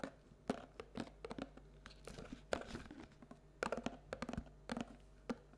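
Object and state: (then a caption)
Paperboard treat bucket, tapped and scratched. Long nails tap and scratch the bottom and sides of a hollow paperboard Halloween treat bucket held tilted with its base showing. Quick, sharp, papery taps come in clusters with short scratchy rubs between them, each hit dying away almost at once.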